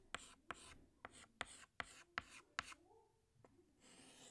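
Fingertips hold a green chalk stick and scratch it across a large flat black chalkboard while drawing leaves. Seven sharp chalk taps each trail into a short, bright, scratchy stroke, followed by a fainter tap and a longer soft rasp at the end.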